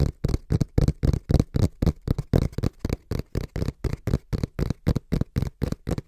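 Fingertips tap and lightly scratch the front panel of a small, brown, hollow cardboard box held in both hands. About 26 quick, dull, low thumps come in a fast, slightly uneven rhythm, with almost no ring after each one.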